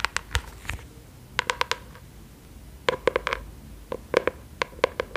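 Long acrylic nails tap and scratch the surface of a flat brown kraft cardboard notebook or folder cover held in both hands. Nineteen short, dry, crisp clicks with a papery midrange ring come in loose clusters. Each click dies away almost instantly, with faint scratching between them.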